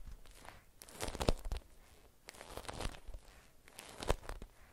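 A watermelon-print beeswax-coated cotton wrap, folded around an object, is scratched by long nails and squeezed and crinkled by hands. Three bursts of stiff, papery crackling and scratching rise and fade, with brief sharp crinkles within each.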